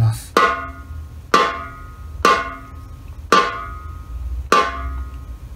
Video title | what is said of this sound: 【バンジョーの３調整】ブリッジ位置・ヘッドテンション・ネックの調整 | G#よりちょっと低い状態です